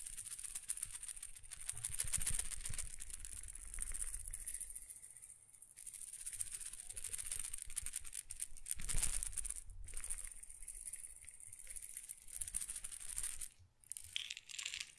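A small glass pepper grinder jar, partly filled with peppercorns and held by its plastic cap, is shaken vigorously so the peppercorns rattle against the glass. The result is a dense, continuous, bright rattling with a low rumble underneath, swelling and easing in waves. The rattling briefly drops out near the end before resuming.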